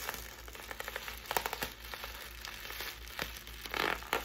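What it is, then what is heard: Plastic air cushion packaging. A clear, hollow, air-filled plastic air-pillow packing strip with blue print is squeezed and crinkled in both hands with fingers and long nails. It makes soft, bright crinkling broken by sharp crackles and pops, with a longer rustling burst near the end.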